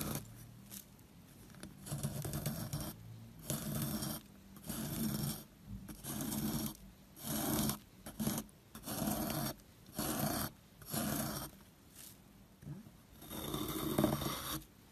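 A wooden-handled metal loop tool scrapes the crumbly surface of a small, solid, square white soap block held in the hand. Repeated dry, rasping strokes with a low, papery body and a bright hiss come in short bursts separated by brief quiet pauses.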